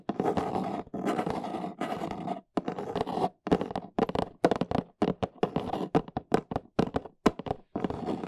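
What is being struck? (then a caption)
Corrugated cardboard box. Long nails tap rapidly on the sides of a large, hollow, brown corrugated cardboard box held upright. Scratchy, dry bursts of tapping give way to quicker separate hollow taps, with little ring after each one.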